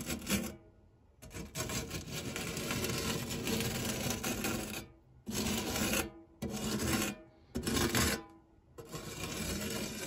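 A white silicone spatula scrapes and rubs the dark textured nonstick base and fluted edge of a shallow, round metal tart tin that is empty apart from crumbs. The result is a gritty, rasping scrape in long strokes separated by short pauses, with a bright hiss above a low rumble.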